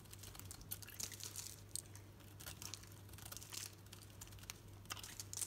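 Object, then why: Bar of soap shaved with a knife blade. A knife blade shaves thin curls off a solid green soap bar held in the hand, making a rapid run of crisp, bright crackling and crunching scrapes. A steady low hum runs underneath the whole time.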